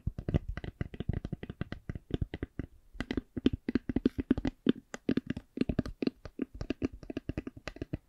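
An eyeglass case is tapped in a steady series of dozens of short, dry taps with a low-mid, slightly hollow tone. The taps die away almost instantly, with a brief pause just before the three-second mark before the tapping resumes.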